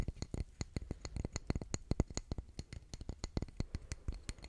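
Fingernails tap rapidly on a solid grey concrete calendar block engraved with month names, held up in the air. Each tap is a short, dry click with a dull low thud underneath and a faint bright tick on top, dying away almost instantly. The taps come in a steady, uneven patter for the whole clip.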